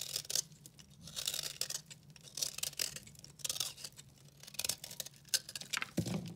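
A blue and pink dry recycled soap bar is cut and scraped with a utility knife, and chunks break off. Crisp, bright scraping and crackling bursts come in quick, uneven strokes, with a faint low hum underneath. A duller thump near the end closes the sequence.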